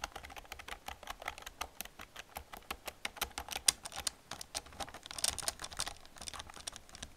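Long nails and fingertips type on the keys of an old black plastic computer keyboard, producing about thirty quick, bright clicks and taps. The clicks are short and dry, with one sharper, louder clack near the middle.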